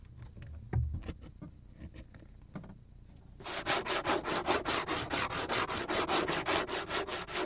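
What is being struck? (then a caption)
Plastic cutting board. Fingernails rub and scratch rapidly across the surface of a large, scratched, flat and solid black plastic cutting board. Quiet, scattered taps and light scrapes give way, a little over halfway through, to a fast, steady run of bright, hissing scratch strokes with a low rasping body around 360 Hz.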